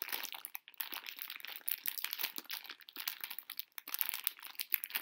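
A full pink plastic-film candy bag of conversation hearts is crinkled and scratched with long nails, the candies crunching inside. The result is dense, bright crackling and rustling with almost no low end, broken by brief quiet gaps.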